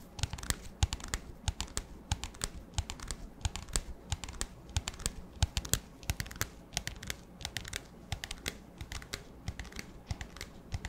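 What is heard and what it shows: An empty, clear, hollow disposable plastic cup with a black lid and a label is held in the hands and tapped rapidly with fingertips and nails. Dozens of quick, irregular taps sound, each a sharp, bright click over a dull, hollow low thump, with a crinkly plastic texture and almost no ring.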